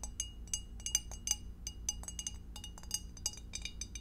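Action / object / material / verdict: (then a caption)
tap / glass food container / glass / none. Long acrylic nails tap rapidly and irregularly on the walls and bottom of a clear, empty, hollow rectangular glass food dish with a divider, held in both hands. The taps are bright, short glassy clinks that die away almost instantly, with a ringing high tone over a low steady background hum.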